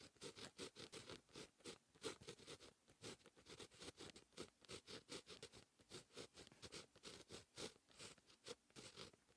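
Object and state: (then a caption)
Pen writing on a paper notebook page. A fine-tip pen held in the fingers writes Korean text on a lined white paper notebook page. It makes a quiet, continuous run of short, bright scratching strokes, about 30 of them, with brief pauses between.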